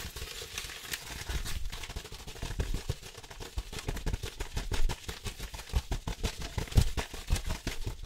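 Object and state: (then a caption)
Paper manila envelope. Fingertips and nails quickly scratch and tap the flat surface of a large yellow-brown paper manila envelope held up in the air. The result is a fast, dense stream of dry papery scratches and soft, dull taps with no ringing afterward.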